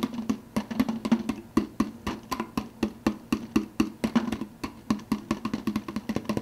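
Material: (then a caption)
Plastic. Fingertips tap rapidly on the clear plastic lid of a large, hollow, translucent blue plastic soda cup. Each tap is a short, dry, hollow knock with a resonant tone around 215 Hz and a faint bright click that dies away almost at once. The taps come in quick, uneven bursts throughout.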